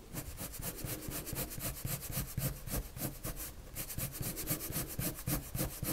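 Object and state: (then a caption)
Colored pencil drawing on paper. A blue colored pencil draws quick strokes across a flat sheet of white drawing paper, rubbing and scratching it. The strokes come in a fast, uneven run of bright scratchy bursts over a soft low rumble, with no pause through the whole stretch.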